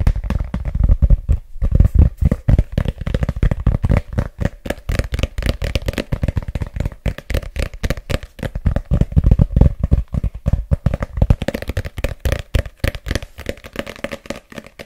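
A thick red paperback book with a glossy printed cover and a solid paper block is held in both hands close up while fingertips and short nails tap and scratch its cover and spine. The result is a dense run of quick, dry, low thuds with short scratchy brushes between them, and each tap dies away almost at once. A faint steady hum sits under it.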